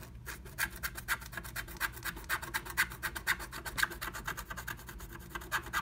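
A wooden stylus scratches inside a lightning bolt cutout of a blue plastic stencil laid over a flat black-coated scratch art sheet. Quick, uneven strokes come about twice a second, each a short, dry, bright rasp with a papery hiss centered around 1.6 kHz. A faint low hum sits underneath.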